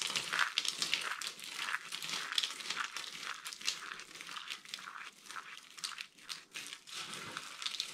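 Two hands with long painted nails scoop, squeeze and press down into a loose pile of small, mixed-colour dry soap flakes and chips (green, pink, orange and white) on a dark mat, crushing and rubbing the brittle solid pieces. The result is a dense, uneven stream of dry, bright crunches and crackles with almost no low end, each snap dying away almost instantly.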